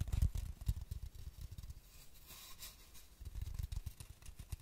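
A long, hollow, apparently empty cardboard tube with a white label is held horizontally in both hands above a microphone while fingertips tap or rub along its surface. The result is a quick run of soft, low, muffled thumps that die away almost instantly. They are strongest at the start and again near the end, with a quieter, smoother rubbing stretch in between.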